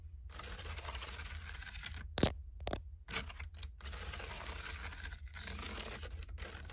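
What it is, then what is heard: Woven seagrass basket. Long painted acrylic nails tap and scratch the outside of the thick braided plant-fiber wall of a medium, open, hollow woven seagrass/water hyacinth storage basket holding a knit beanie and fabric. Dry, crackly scratching runs throughout over a steady low hum, broken by a few sharper taps around the middle of the clip.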